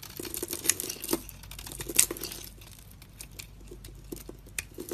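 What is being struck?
Bar of soap.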